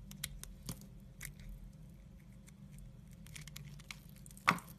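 A red-handled utility knife blade scrapes thin curls off a solid brown soap bar held in hand, making soft, dry, scratchy ticks and brief bright scrapes over a low steady hum. Near the end, one sharper, louder scrape cuts through before the sound settles back to quiet.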